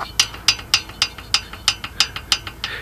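On a Honda ATC 200 engine with the valve caps off, the metal exhaust valve rocker is shaken back and forth, producing a series of sharp, bright metallic clicks. The clicks come from a little play in the rocker while the valve isn't depressed, which shows the exhaust valve is properly adjusted.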